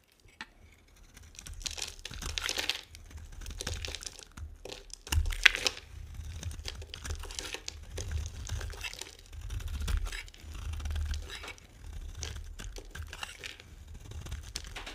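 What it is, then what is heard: Dry bar soap being carved. A metal blade scrapes and carves brittle flakes from the end of a hand-held, solid white rectangular bar of dry soap. Dry, crinkly, crunching scrapes come in repeated bursts with bright, hissy texture and a low rumble underneath. One sharper crack stands out near the middle.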